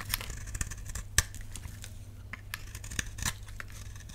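A utility knife blade carves a solid, dry lilac bar soap held in the palm. A series of short, dry scraping cuts with bright, crisp edges shaves off flakes of soap over a low steady hum.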